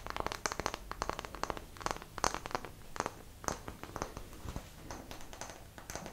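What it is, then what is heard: Light wooden block tapped and scratched with nails. Long nails tap and scratch the faces of a small, solid, square block of light wood held near the microphone. Rapid, dry, clicky taps mix with faint scraping in an uneven patter, each tap dying away almost instantly.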